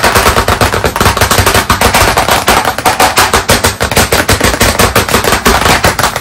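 Both hands rapidly tap small pieces of chalk against the flat surface of a large black chalkboard in a wooden frame, leaving dots and streaks. The result is a fast, dense, slightly uneven stream of sharp, dry clicks with a mid-range knock and bright edges. Each tap dies away quickly.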